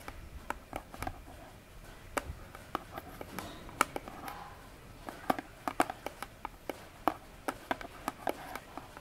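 A small, rectangular orange cardboard box, likely rigid and probably hollow, is held upright in both hands on a table while very long nails tap and scratch its front face. About two dozen short, dry clicks ring out at irregular intervals, centered around 1.3 kHz with no ring. Between them, a faint scratchy rustle fills the quiet background.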